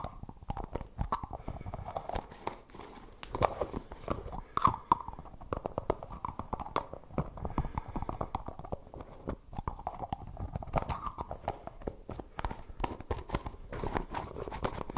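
Fingertips grip the white plastic screw lid of a medium, likely full plastic tub of Suavecito hair pomade, tapping and twisting it close to the mic. A dense, steady stream of short, dry plastic taps and scrapes fills the clip, with a muted mid-range tone around 630 Hz and very little brightness. Each tap cuts off almost instantly, with a few louder clicks standing out.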